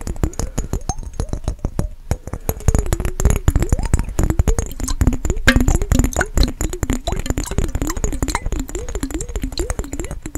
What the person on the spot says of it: 26:40 - fast tapping on mason jar with water